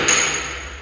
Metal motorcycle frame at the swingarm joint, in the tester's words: se une al marco, que también es hueco